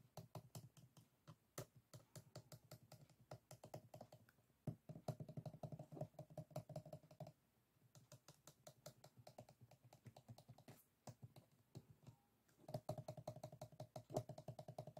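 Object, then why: Closed bamboo folding fan. A closed bamboo folding fan lies on a table, its solid stack of bamboo ribs with paper folded between them, while fingertips and nails tap and scratch along the rib edges. Rapid, dry clicks and ticks come in dense bursts, broken by a few brief pauses. The sound has a low, woody body beneath sharp, bright transients.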